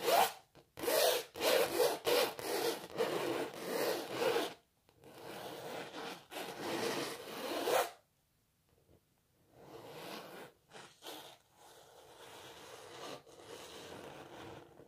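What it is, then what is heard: Canvas painting scratched with fingernails. Long natural nails scratch fast across the canvas surface of a painting of a cellist, making dry, bright, rasping strokes in quick bursts. The loudest scratching comes in the first few seconds, then softer continuous rubbing follows, a brief pause near the eight-second mark, and quieter scratches to the end.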